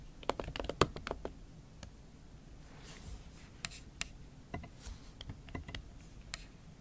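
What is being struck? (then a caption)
Laptop keyboard with silicone key cover, tapped with fingernails. Fingernail tips tap slowly and irregularly across a MacBook Pro keyboard covered with a pink silicone skin. The sharp, bright clicks are muffled by the cover and decay quickly, with faint scratchy brushing between keystrokes.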